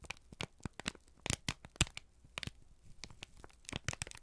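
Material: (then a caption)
Paper. A single thin, crumpled sheet of brown kraft paper, held in both hands, is squeezed and crinkled with the fingertips and thumbs. It gives a rapid run of sharp, dry crackles and crinkles, each bright and brief with a soft low thump beneath. The crackles come in uneven bursts with quiet gaps between them.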